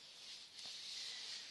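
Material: Nothing is struck.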